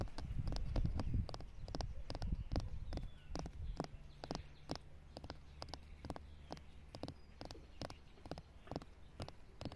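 Long pink nails tap and scratch across a flat, solid, weathered concrete or stone slab lying in grass. Quick, irregular clicky taps sound over a low rumble, louder for the first few seconds and then settling quieter.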